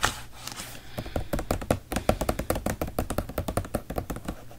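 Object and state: Plastic detergent bottle.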